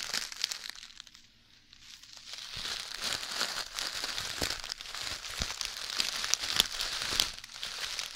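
A clear plastic zip-lock bag full of tiny red beads is held in both hands, then in one hand, and crinkled and shaken close to the microphone. Bright, crackly crinkling mixes with the fine rattle of shifting beads in quick, irregular bursts. The sound dips quiet briefly near the start before building into denser, sharper crunches.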